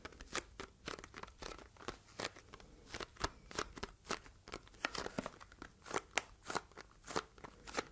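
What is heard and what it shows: Long red nails tap and scratch a small, hollow, red printed cardboard box close to the microphone. A quick, uneven series of sharp, dry clicks with bright, crackly scratching between them is heard, each tap dying away almost at once.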